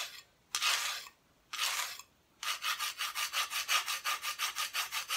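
Long painted nails scratch the unpainted back of a thin, flat, solid plywood Christmas decoration cut-out held at an angle. Two slow, drawn-out strokes come first, then a quick run of short back-and-forth scratches. The sound is a dry, bright, hissy rasp with no low end.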